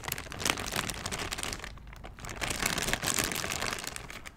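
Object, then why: Thin clear plastic bag. An empty, thin, clear transparent plastic bag is crumpled and crinkled in both hands in front of the microphone. It makes a dense, bright, crackling rustle that fades briefly around the middle, then picks up again with sharper crinkles.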